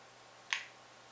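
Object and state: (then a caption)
Folding knife liner lock fully engaged. A Buck Vantage Pro folding knife is flicked open hard so its liner lock bar snaps into place. A single sharp, bright click peaks near 2 kHz and dies away in a fraction of a second. That final little snap shows the lock is fully engaged; without it the lock may not be engaged and the blade could close.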